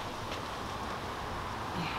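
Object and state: Nothing is struck.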